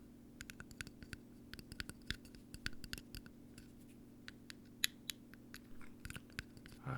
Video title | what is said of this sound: ASMR Tapping and Ear Brushing | cap that seems to be primarily metal in its composition offering a little bit different of a sound quality